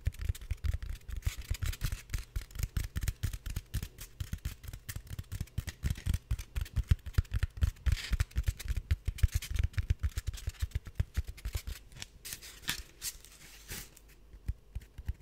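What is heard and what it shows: A hand-sized, solid slab of white expanded polystyrene with broken edges is scratched and tapped rapidly with fingernails. The result is a dense stream of short, dull, low thumps mixed with dry, rough scratching bursts, each dying away almost instantly. The activity thins and softens near the end.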